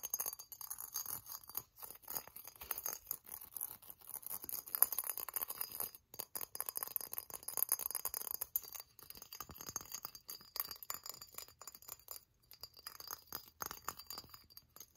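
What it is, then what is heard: Hollow glazed ceramic ornament, nail-tapped. Long nails tap the body and leaves of a hollow silver-glazed ceramic pineapple ornament with holes, making quick, bright clinking sounds. The rapid, dense taps have almost no low end and die away almost instantly, with brief pauses between bursts.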